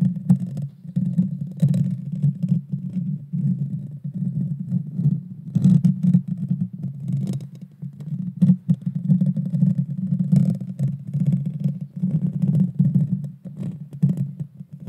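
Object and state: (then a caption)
Metal mesh microphone grille. Long dark fingernails scratch directly across the small, hollow, round metal mesh grille of a Blue Yeti Nano microphone. The result is a dense, continuous low rumbling scrape with irregular swells and brief brighter crackling bursts throughout.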